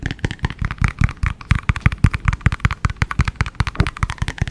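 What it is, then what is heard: Plastic shaker bottle tapped. Fingertips and nails tap and scratch the outer wall of a hollow, empty-looking, translucent yellow plastic cylindrical shaker bottle held sideways near the microphone. A fast string of short, deep, thumpy knocks comes in rapid bursts, each dying away almost at once, with a faint bright scratchy edge over the low body.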